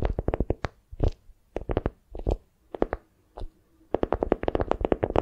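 A small foam squishy wrapped in beeswax-coated cotton is held in both hands while long nails squeeze, grip and scratch the stiff waxed fabric. It makes clusters of quick, dry crinkles and crunches with brief pauses between them, and the sound stops the instant each touch ends.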